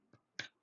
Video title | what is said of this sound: A Very Simple/Easy Homemade Organic Bread Recipe | should sound hollow if you tap the bottom and curiously enough interestingly enough it actually does that